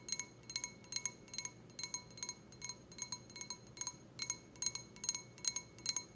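Long red-painted nails tap the bowl of an empty, clear, stemmed wine glass with a white printed design, held in the hand. The result is quick, irregular clusters of bright, high-pitched clinks. Each clink rings briefly at several clear pitches before fading fast over a soft background hiss.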